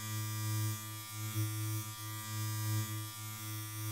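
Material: Nothing is struck.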